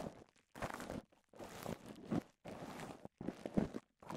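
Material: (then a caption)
Plastic. A small sheet of clear polyethylene bubble wrap, rolled into a cone with air-filled bubbles, is held in both hands and squeezed and popped with the fingertips and thumbs. Bursts of crinkly, crunching plastic rustle alternate with short silences, and sharper low snaps of popping bubbles stand out within them.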